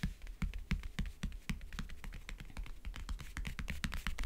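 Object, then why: Covered wooden backgammon case. Long nails tap on the lid and along the lower edge of a closed, hollow backgammon case with a map-print covering. Rapid, uneven, short clicky taps ring with bright, crisp tops over a steady low hum underneath.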